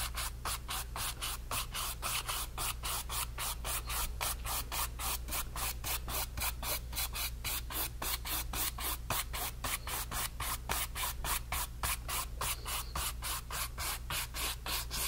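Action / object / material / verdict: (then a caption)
scrape / flat paintbrush on stretched cotton canvas / cotton canvas / none. A flat brush is scrubbed across the blended paint surface of a stretched cotton canvas panel, making steady, rapid back-and-forth scratchy brushing strokes across the woven fabric. Each stroke gives a bright, dry rasp, over a constant low hum underneath.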